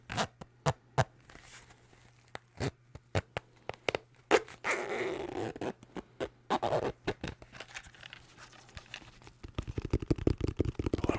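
An empty zipped glasses case, with the blue light glasses taken out, is tapped in sharp, scattered knocks, with a rapid burst of taps near the end. It sounds more hollow now that there is more space inside.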